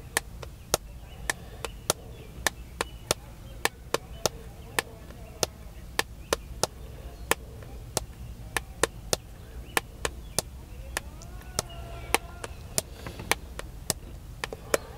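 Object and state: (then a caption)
Smartphone in plastic case. Fingertips tap the back and edges of a hand-sized black smartphone in a plastic case, held in one hand by a man seated in a parked car. Dozens of sharp, dry, bright clicks come at a steady, brisk pace, each dying away almost instantly. A faint low rumble runs underneath throughout.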